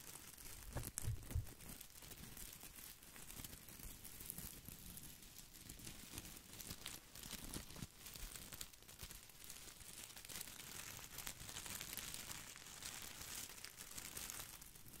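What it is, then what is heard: Plastic artificial boxwood ball. Fingertips scratch and brush the glossy plastic leaves of an artificial boxwood topiary ball held beside the mic. The result is a steady, irregular crinkling and rustling with bright crackle on top and a soft low rumble underneath, plus a few louder brushes early on.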